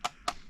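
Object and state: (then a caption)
Headphone earcup clacking against its yoke, thin bumpers not damping it. A closed-back Moondrop Joker headphone earcup is knocked twice against its yoke, giving two short, dry clacks that are bright and midrange-heavy. Thin rubber bumpers about a millimeter thick don't soften it, so it still sounds like plastic hitting plastic.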